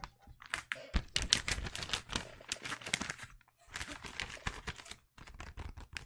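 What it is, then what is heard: Wrapping paper roll on cardboard tube. A long roll of blue penguin-print wrapping paper on a hollow cardboard core, held upright in one hand, is tapped by fingertips and nails along its length. Quick, dry taps give crisp, bright paper clicks over soft, hollow thuds, with brief pauses around the middle and near the end.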